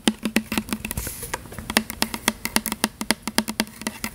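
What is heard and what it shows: Long fingernails tap and scratch on a tall plastic "Butterfly" body mist spray bottle with a printed label, held close in front of the mic; the hollow bottle appears filled with liquid. Quick, uneven clicky taps each carry a short hollow tone near 220 Hz with bright ticks on top, and a soft scratching hiss comes in around the one-second mark.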